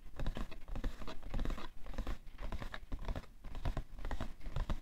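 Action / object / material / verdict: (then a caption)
scrape / cardboard tissue box / cardboard / none. A printed, hollow cardboard tissue box full of tissues, resting on white fur, is scratched and tapped on its side panel with the fingernails of both hands. The result is a dense, quick patter of dull, low taps mixed with dry, papery scratching, each sound dying away almost at once.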